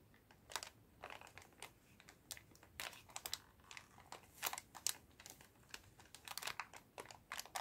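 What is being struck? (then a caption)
Plastic bag holding cotton swabs. A clear plastic bag full of cotton swabs is shaken and squeezed by hand, giving quiet, bright crinkles and a light rattle. The sounds come as a steady series of short, sharp bursts over a soft, near-silent background.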